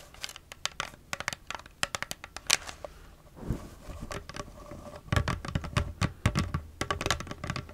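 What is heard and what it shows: Long nails tap and scratch the sides of a hollow, nearly empty clear plastic cosmetic bottle with a black cap. Rapid, sharp, dry clicks come in irregular bursts, with a brief softer scratching stretch midway. Each tap has a hollow low thump under a bright plastic tick.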